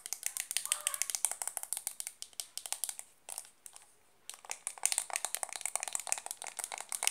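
A small, round, hollow white plastic makeup compact, held in both hands, is tapped and scratched fast with long dark-painted nails. About forty sharp, dry, bright clicks come in quick bursts. A short lull of softer scratching falls in the middle before the rapid tapping resumes.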